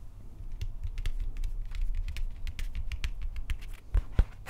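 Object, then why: Wrapped plastic prop axe handle. Fingers scratch and tap the upper wrapped plastic handle near the head of a Stormbreaker replica prop axe. A steady stream of quick, light ticks and scratchy strokes rides over a low rumble. Two louder knocks land near the end.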